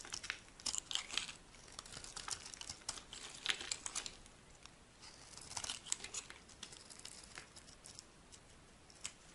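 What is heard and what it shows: A metal blade carves a solid, dry, green oval bar of soap held in the palm, cutting it into stick-like shavings. The result is a quiet, continuous run of bright, crisp scraping and crackling bursts, with sharp little clicks and almost no low end.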